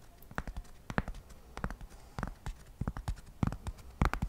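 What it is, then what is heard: Cork coaster. A single flat, solid square cork coaster is held in one hand close to the microphone and scratched and tapped with fingertips and nails. Short, dry, muffled taps fall in an irregular rhythm over a faint scratchy hiss, each dying away at once with no ring.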